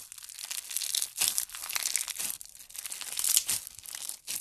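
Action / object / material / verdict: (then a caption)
scrape / clear slime packed with plastic fishbowl beads / plastic beads / none. A handful of clear yellow slime packed with plastic fishbowl beads is squeezed and kneaded with thumbs. Dense, bright crunching and crackling comes in repeated swelling bursts with almost no low end.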